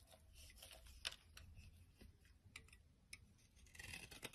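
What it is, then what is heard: Dry soap bar being scraped. A utility knife blade scrapes crumbly shavings from the edge of a solid, dry, hand-sized orange soap bar held over a wooden surface. The quiet, dry scraping is bright and crisp, broken by sharp little clicks and crackles as the shavings break away, over a faint low rumble.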